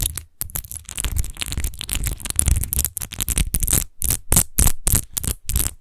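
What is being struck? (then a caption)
Textured glass wine bottle. Long nails quickly scratch the rose-textured base of a large, hollow, clear glass rose-shaped wine bottle that appears empty. The result is a fast run of short, bright, gritty scratching bursts over a deep hollow rumble, separated by brief silent gaps.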